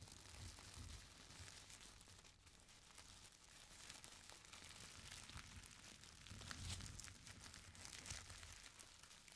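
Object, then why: Stack of thin tissue paper. Hands rub a folded stack of thin purple tissue paper, then grab and crumple its edges. The result is a steady stream of soft, bright crinkles over a low rumble, swelling slightly toward the end.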